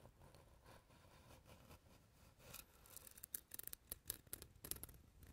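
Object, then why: Light wooden board. Fingernails scratch and tap the face and edges of a light, solid wooden board held close to the mic. Soft, steady scratching fills the first few seconds, then gives way to a run of sharp, bright, dry taps that stop almost instantly.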